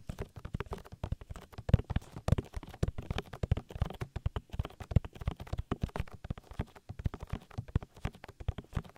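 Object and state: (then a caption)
Silicone microphone ear tapped. Fingertips tap rapidly on the oily silicone ear of a binaural microphone, making a dense, uneven run of soft, knock-like thumps. The taps are deep and dull, with almost no high end, and each one stops short with no ring.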